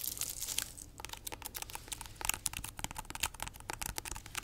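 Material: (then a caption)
Pineapple rind. Long nails scratch and tap along the spiky, textured rind of a large, solid, whole fresh pineapple held sideways. The result is a dense run of dry, crinkly scratching broken by quick, sharp clicks, bright and mostly high-pitched with almost no ring.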